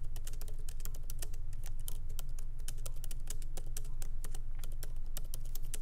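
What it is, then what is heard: Laptop keyboard being typed on. Light typing with the fingertips of both hands on a MacBook Pro laptop keyboard, whose small plastic keycaps are set in an aluminum body resting on a wooden desk. A steady, irregular stream of quick, bright key clicks runs over a constant low hum for the whole clip.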